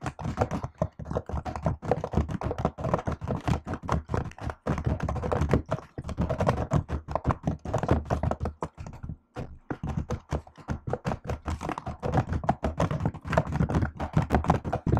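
Fingertips and long nails type continuously on a laptop keyboard with plastic keycaps, making a dense stream of short, dry, low-pitched clicks and thunks with almost no ring. The tapping runs steadily throughout, with one brief pause around the nine-second mark.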